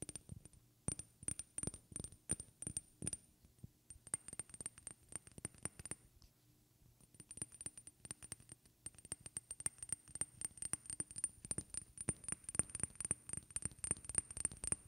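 A small clear glass perfume bottle with a white cap, filled with amber liquid and held in one hand, is tapped with long red-painted fingernails. Quick, sharp clicks and clinks come with a thin, high glassy ring, pausing briefly around the middle before the tapping resumes more densely.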